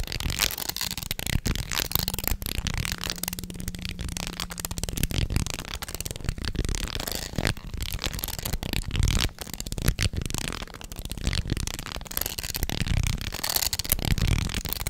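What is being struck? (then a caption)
Wooden segmented snake toy. A light-coloured jointed wooden snake toy with solid segments is held in both hands, curved and wiggled so its wooden pieces rattle and click together. The clicks come in a dense, continuous stream for the whole clip, with occasional sharper knocks and a heavy low-end body under a dry, brief rattle.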